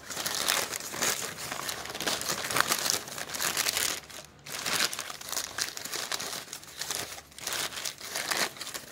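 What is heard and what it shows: Fingertips flip, rub and crumple a loose, light, hollow-stacked pile of thin, glossy printed supermarket advertising leaflets lying on a wooden deck. The result is a dense, bright crinkling and rustling with almost no low end, in rolling swells and a brief lull at about four seconds.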